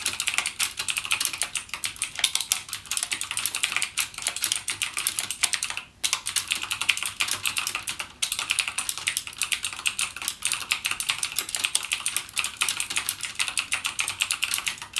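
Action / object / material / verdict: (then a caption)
tap / plastic mechanical keyboard / plastic / none. Fingertips type continuously on a backlit mechanical gaming keyboard with plastic keycaps and clicky Cherry MX Blue switches. A steady, dense stream of sharp, bright clicks fills the clip, with brief pauses near 6 and 8 seconds.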